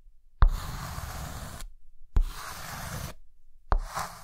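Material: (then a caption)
Chalk. A white stick of chalk taps onto a dark green chalkboard and rubs and scratches lines across it, raising visible dust. Three strokes each start with a sharp knock, then a dry, gritty scrape that lasts about a second, with a low, thuddy body and a soft hiss.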